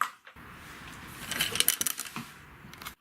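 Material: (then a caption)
Metal. An item is dropped into a big orange street post box, giving a quick cluster of bright, tinkling metallic clinks and rattles over a steady background hiss. The ting-a-ling is the normal sound anything makes when it is put into one of these boxes.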